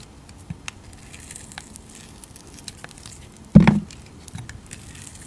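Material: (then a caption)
Soap. A utility knife blade scrapes and shaves the surface of a solid, round, pink translucent glycerin soap bar with glitter, palm-sized and held in the hand. Faint, scattered scratchy ticks run throughout, with one louder, dense, low-weighted shaving scrape lasting about a third of a second near the middle before the quiet scratching resumes.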